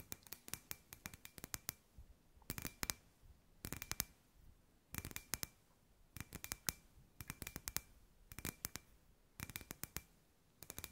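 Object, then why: Hollow glass sphere lamp. Long white nails tap a hand-sized, hollow clear glass sphere lamp with fairy lights inside. The result is quick, bright clicking taps in short clustered bursts separated by quiet pauses, each tap dry and short with a faint glassy ring in the upper mids.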